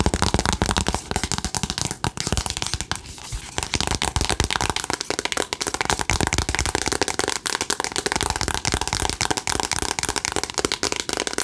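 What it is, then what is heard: Cardboard eyeshadow palette. A cardboard "Remember Me" eyeshadow palette is held at an angle, then flat, while long acrylic nails tap and scratch it. Fast, dry, clicky taps run almost nonstop, mixed with bright scratching and a brief softer patch around the three-second mark. The result is a steady stream of crisp tapping across the whole clip.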